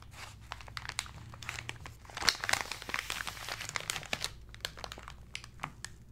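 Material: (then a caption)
Kraft paper. Fingertips and flat hands rub and press a rectangular parcel wrapped in brown kraft paper, resting on a red cloth, its contents unseen. Dense, bright crinkling and crackling runs throughout, with quick sharp snaps of paper. The sound swells into a louder, busier burst of crumpling in the middle before settling back to softer rustling.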